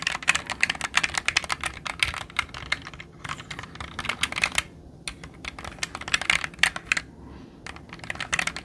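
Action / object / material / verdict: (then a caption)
scrape / plastic mechanical computer keyboard keys / plastic / none. A jade roller is rolled across the plastic keycaps of a black mechanical computer keyboard held upright, setting off rapid, bright clattering key clicks. The clicks come in irregular bursts with a few short pauses between them, each click dying away almost instantly.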